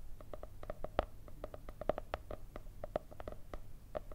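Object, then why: Hardcover cardboard-covered paper notebook. Long red nails tap and scratch the cardboard cover of a solid, white marble-effect hardcover paper notebook. Quick, irregular, dry taps with a short hollow knock around 600 Hz and bright clicky edges sound over soft scratching and a faint low rumble.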